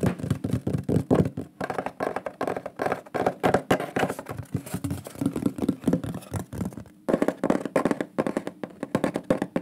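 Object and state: Wooden plaque tapped with fingertips and nails.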